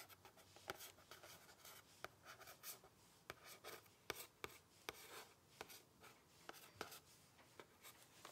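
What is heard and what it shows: Fingernails scratch and tap the printed front cover of a medium-sized, closed red cardboard "Fragrance Discovery Vault" gift box held up and tilted. Soft, dry, bright scratching runs throughout, broken by short, sharp taps that stop at once, all at a quiet level.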